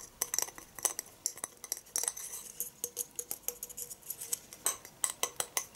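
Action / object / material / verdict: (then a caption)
tap / glass Christmas tree topper / glass / none. A shiny gold, spire-shaped glass Christmas tree topper with a ball-shaped base, about 20 cm long, is held in the hand in front of a fake Christmas tree and tapped and handled with the fingertips and nails. The result is a quick, uneven series of bright, high glassy clinks and ticks that die away almost at once, with a faint low hum under some taps.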